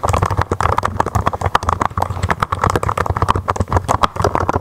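Fingertips with long nails type steadily on a mechanical keyboard with white, blue and red plastic keycaps. It makes a rapid, continuous stream of short, dry clacks with a low thump under each keystroke and a hollow midrange click near 1 kHz. The highs are dull, and each tap dies away almost instantly.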